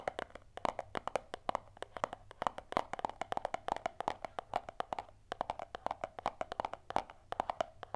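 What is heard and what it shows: Long nails and fingertips rapidly tap a small, closed, hollow white cardboard earphone box held in both hands. The result is a dense stream of quick, dry clicks with a hollow tone around 770 Hz and almost no ring, broken by a brief pause near the five-second mark.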